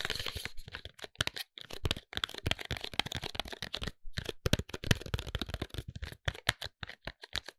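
Fingertips and short nails tap and scratch the faces of a tall white Sofina cardboard cosmetics box, hollow with the product inside. The result is a quick, dry run of crisp clicks and scratchy, crinkling rasps, with short gaps between bursts and no lingering ring.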